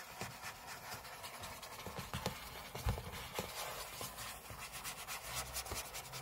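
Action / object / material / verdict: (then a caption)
scrape / aluminum laptop lid / aluminum / none. Fingernails of both hands scratch and rub across the lid of a closed MacBook, a thin hollow aluminum shell resting on a table, heard up close. The sound is a steady, quiet, bright scratchy rasp broken by short sharper strokes. Soft, dull low thumps from the hollow shell sit under the scratching.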